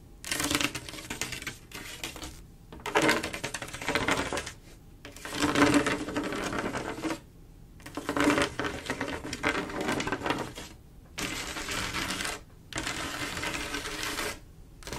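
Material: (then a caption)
Glass. Long acrylic nails scratch and tap across a large, solid, flat glass mosaic tile picture made of silver mirror-like tiles. Bursts of bright, gritty scratching with quick clicking taps come in runs of a second or two, separated by short quiet pauses.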